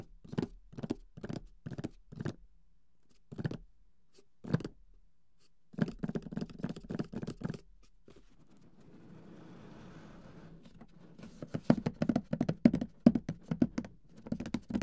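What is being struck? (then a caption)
Closed cardboard game box. Fingertips tap and scratch the side walls of a closed, printed cardboard Mysterium board game box, then the hands grip its lid at the end. Spaced, dull, hollow taps give way to quicker bursts, then a soft, steady scratching rasp, and finally a dense run of rapid taps and handling.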